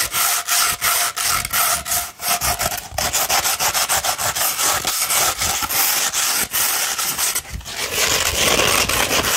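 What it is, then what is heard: Coarse sandpaper being scratched. A coarse 60-grit sheet of greenish-tan sandpaper, rolled into a hollow tube, is scratched with long red nails. Rapid, uneven strokes make a dense, gritty, bright rasping that runs almost continuously, with short dips between scrapes and little low end.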